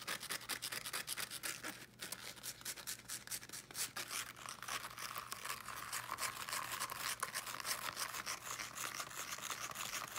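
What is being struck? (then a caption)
Small speaker with woven fabric mesh cover. Fingernails rapidly scratch across the woven teal fabric mesh of a small fabric-covered speaker held in both hands. The result is a continuous dense, bright, rough scratching texture with quick brushing strokes and a faint steady low hum underneath.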